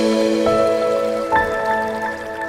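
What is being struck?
Nothing is struck.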